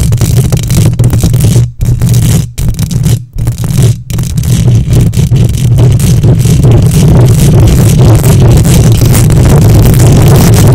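Long nails rapidly scratch the hollow metal mesh grille of a silver condenser microphone. The result is a loud, dense rasping with a heavy low boom and a gritty bright fizz on top. A few brief gaps break it up early on, then the scratching runs on without stopping.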